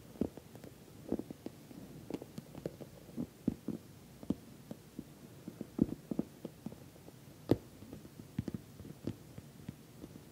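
Fingernails tap and scratch the top of a glossy orange patent vinyl cosmetic bag, soft-sided and filled. Quiet, dull taps with a low-mid body stop almost instantly, scattered irregularly over soft, faint scratching.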